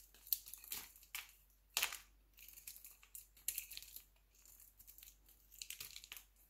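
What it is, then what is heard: Glycerin soap bar being shaved. A metal utility knife blade shaves and scrapes thin slices off a palm-sized, solid, translucent orange glycerin soap bar held in one hand, with the yellow-orange shavings piling up below. Quiet, bright, crisp scraping and crackling strokes come in a rapid, uneven series of short bursts with almost no low end and no ring after each stroke.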